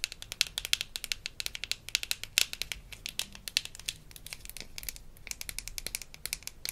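Long nails tap and scratch a small, hollow pink plastic toy floss case from a Melissa & Doug Super Smile Dentist Kit. Rapid, bright, dry clicks with almost no ring come in irregular bursts, mixed with soft scratchy rasps over a faint low hum.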